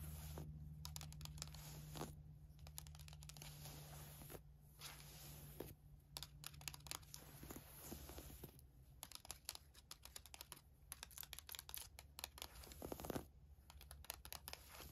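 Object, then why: Woven fabric camisole top. Long nails scratch and tap the surface of a navy floral woven fabric camisole top, giving quiet, dense, rapid scratchy ticks and taps with bright, crinkly texture. A steady low hum runs underneath throughout.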